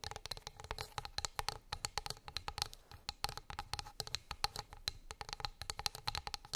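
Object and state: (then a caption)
Wooden plate tapped with fingernails. Long acrylic nails tap rapidly on a flat, solid wooden board or plate lying on fur. The taps are quick, sharp clicks with a bright, slightly hollow ring near 800 Hz, each dying away almost instantly. Dozens of them fall in an uneven, continuous patter.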